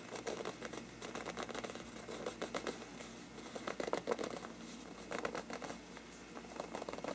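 Fingertips scratch and tap the sides of a large, hollow, bell-shaped faux-parchment paper lampshade, empty, after the hands move down from the rim. Quick, dry scratches and light taps come in dense clusters of short bursts, with a papery midrange body and bright, crisp edges over a faint steady hum, and almost no ring after each touch.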